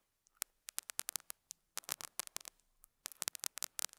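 A metal dental scaler hook scratches and picks at a small square beige felt pad resting on a lapel mic. It makes quick, dry, bright scratching clicks in uneven bursts, each ending almost instantly, with near-silent gaps and a faint hiss between them.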